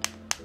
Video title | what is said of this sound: SOUNDCORE R100 Review! TWS Yang Tidak Kenal Habis Baterai | dia dalamnya tuh kerasa berisi